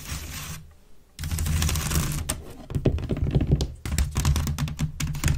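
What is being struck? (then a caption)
Woven wicker waste bin. Long nails of both hands scratch fast over the woven sides of a grey wicker waste bin held upright, hollow and empty. The result is a dense, rapid crackling scratch over a deep, hollow body resonance. It pauses briefly near the first second, then resumes in quick bursts.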